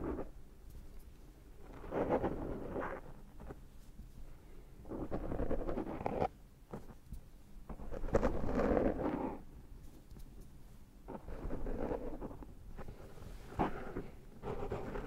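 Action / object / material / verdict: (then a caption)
scrape / foam microphone windscreen / foam / none. Fingertips pinch and rub the black foam windscreen on a Zoom H6 microphone to pull cat hair off it. The result is close, muffled scratching and rustling that swells in several bursts of a second or two, with a heavy low rumble and little high content.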